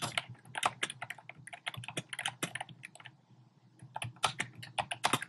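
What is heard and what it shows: Fingertips with short painted nails type rapidly on a compact keyboard with a black plastic frame and round pink, orange and cream plastic keycaps, set on a desk. Quick bursts of sharp, bright plastic clicks and taps die away almost instantly, with a brief quieter lull in the middle before the fast typing resumes.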